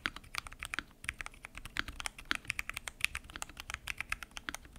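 Fingertips type continuously on a full-size mechanical keyboard with lubed switches, pink and mint PBT keycaps, and a transparent acrylic case. A rapid, steady stream of crisp, bright keystrokes rings around 2.5 kHz, each one dying away almost instantly with little low-end thump.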